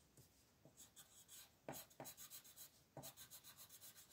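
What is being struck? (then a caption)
Wooden coloured pencil on a thin paper sheet. A dark blue wooden colored pencil is rubbed back and forth over a thin white paper mandala coloring sheet lying flat on a table to shade it. About a dozen quiet, bright, scratchy strokes sound at roughly three per second with an uneven rhythm, a few landing with a slightly heavier scrape.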